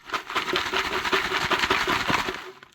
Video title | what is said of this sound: HOMEGROWN BIRDHOUSES _ Gourd Crafts! #WhittAcres #creatingparadise #enjoynaturetoday | you want to shake it and if it rattles like a moraca it's ready